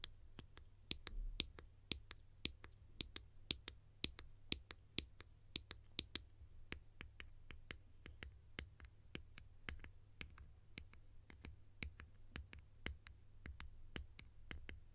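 A green hollow plastic lid, held in the hand, is tapped with long nails in a steady run of about forty sharp, bright clicks that die away almost instantly. The first six seconds carry a faint high ringing tone on each tap, and a low steady hum sits underneath throughout.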